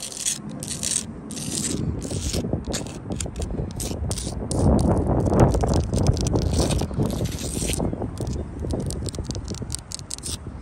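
Long blue acrylic nails scratch and tap across a solid wall of rough sandstone blocks and grey mortar, working over the stone surface and into the mortar gaps. A steady, gritty scraping carries rapid, uneven clicks and taps throughout, with bright hissy bursts on top of a heavy low rumble. The sound grows denser and louder toward the middle before easing slightly at the end.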